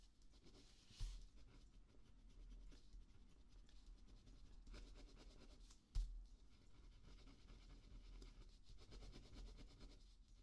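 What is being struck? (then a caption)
Ballpoint pen on a thin paper notepad sheet. A ballpoint pen held in the fingertips writes and scratches across a small spiral notepad sheet of thin paper lying flat on a dark table, while the other hand steadies the pad. A quiet, continuous dry scratching fills the clip, broken by two sharper, louder taps about five seconds apart.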